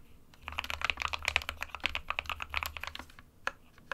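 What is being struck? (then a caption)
Plastic mechanical keyboard. Fingertips of both hands type continuously on an SK61, a small 60% white plastic-cased mechanical keyboard with plastic keycaps resting on a desk mat. A rapid run of bright, short plastic clacks centered around 2.5 kHz plays over a faint low hum. The clacks thin out near the end, and a few last keystrokes follow a brief pause.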